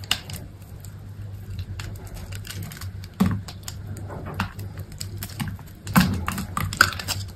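A utility knife blade scrapes and cuts cubes off a solid, hand-sized green soap bar that is pre-scored into cubes. Soft, dry scraping and crisp little clicks and snaps run over a steady low hum, with stronger cuts standing out near 3.2, 6 and 6.8 seconds.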